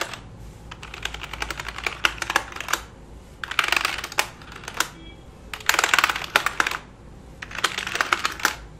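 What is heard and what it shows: A single finger taps and presses the keys of a black full-size plastic computer keyboard resting flat on a lap. Quick, bright plastic clicks come in four dense bursts separated by short, quieter pauses, and each click stops almost at once.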